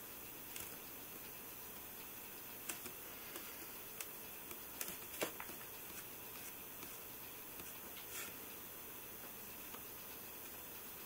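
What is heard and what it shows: Right-hand fingertips tap and swipe across the glass screen of an iPhone lying in landscape on a white table, while the other hand rests still. Soft, bright, typing-like ticks and faint swishes come at scattered moments over a steady quiet hiss, each dying away almost at once.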